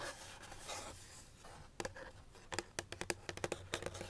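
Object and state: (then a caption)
Cardboard box tapped with nails. Fingernails tap on the side and corner of a small, hollow white paperboard box held in the hands. Soft scratchy rubbing gives way to a rapid series of short, dry clicks with a bright, papery edge.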